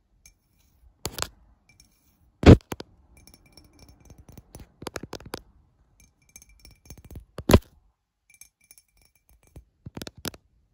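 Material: Glass.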